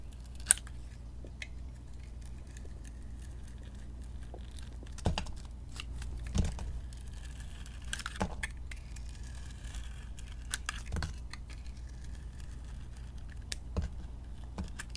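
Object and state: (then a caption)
Bar soap being cut with a blade. A metal utility blade cuts and peels strips off an oval, solid white bar of soap with a green glitter coating, held in the hand. Short, crisp scraping and crackling cuts with bright, high edges come at irregular intervals over a quiet, steady low hum.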